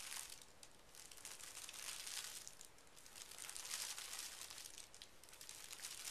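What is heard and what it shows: Both hands smooth and rub a large, flat sheet of thin pink tissue paper lying on carpet, using fingertips and short nails. The result is a quiet, continuous bright crinkling and rustling that swells and fades in slow waves, with little low end.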